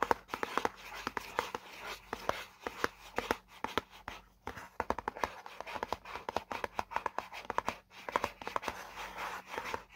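Fingertips and nails tap and scratch across the printed diagram area on the side of a hollow white paperboard product box. Quick, dry, hollow taps with a papery knock near 900 Hz come in an irregular rapid rhythm, with soft scratching between them and a faint steady low hum underneath. Each tap dies away almost instantly, leaving no ring.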